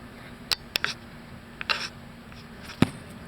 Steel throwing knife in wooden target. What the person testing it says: you can hear it it's that solid thump